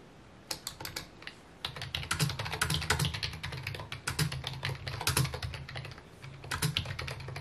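Fingertips and short nails type on a full-size white plastic keyboard with mint keycaps resting on a wooden desk, producing rapid, bright plastic clicks and clacks in uneven bursts. A steady low hum sits beneath the taps. The typing thins out near the six-second mark, picks up in one more short flurry, then stops as the hands briefly lift.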